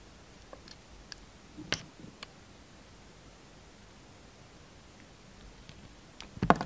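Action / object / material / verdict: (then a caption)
scrape / soap bar / soap / none. A yellow utility knife blade shaves and scrapes the black and gold surface of a hand-sized solid soap bar molded as a pistol, held in the hand. Quiet, scattered short clicks and brief bright scrapes sound over near silence, with a louder scrape around the second mark. A stronger scraping burst closes the clip.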